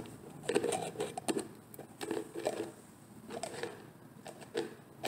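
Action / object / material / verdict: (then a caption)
tap / plastic screw-lid jar / plastic / none. Fingertips with painted nails twist and tap at the screw lid of a medium, hollow, orange-labelled plastic cosmetic jar whose contents are not visible. Short, light, hollow plastic taps and clicks sit in the midrange with a scratchy twisting texture between them. Each tap dies away almost instantly, and the taps come in irregular clusters.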